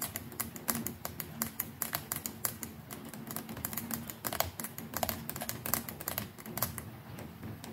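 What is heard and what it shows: Long nails tap quickly and repeatedly on the plastic neck and the collar near the handle of a white plastic electric toothbrush. Each tap is a short, dry, bright click that dies away almost at once, like keyboard typing. A faint low steady hum sits underneath.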